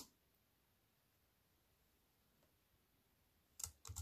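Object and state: Plastic computer keyboard being typed on.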